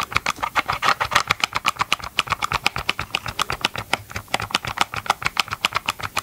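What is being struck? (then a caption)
Hard plastic chainsaw motor housing. Gloved fingertips tap and scratch the hollow hard plastic motor housing of a Ryobi chainsaw held upright, producing a rapid, steady run of 46 short, dry clicks. Each tap is bright with a clear mid-range knock and almost no low end.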